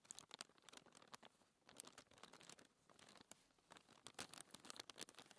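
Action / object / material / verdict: scrape / thin paper sheet / paper / none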